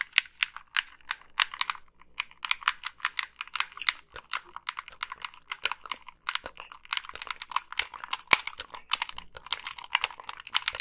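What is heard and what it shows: Long pink nails tap the hollow plastic shell of a black Xbox 360 gamepad and click its thumbsticks and buttons. The result is a rapid, uneven stream of dry, bright clicks and taps with almost no low end and no ring.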